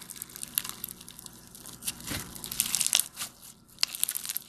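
Fingertips and thumbs knead, press and fold a soft, solid mass of light blue slime densely filled with small polystyrene foam beads (floam). It produces a steady stream of dry, crunchy crackles and pops, bright and high with almost no low end.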